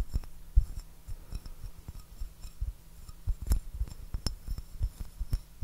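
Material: Porcelain.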